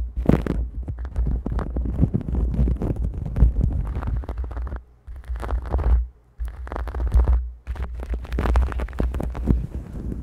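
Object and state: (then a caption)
Knit fabric shower glove. A grey knitted polyester exfoliating shower glove is pulled over a microphone, and bare hands with long nails rub and scratch its soft, hollow knit surface. The result is dense, muffled scratching and rustling with a heavy low rumble underneath. The sound drops out briefly around the middle before the scratching resumes.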